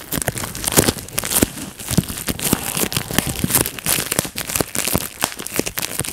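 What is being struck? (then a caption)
Plastic bubble wrap. A large clear plastic bubble wrap sheet lying on a lap has its bubbles popped one by one with the fingertips. Sharp, bright pops ring out in a rapid, uneven series over a steady crinkling of the plastic. Each pop is short and dry.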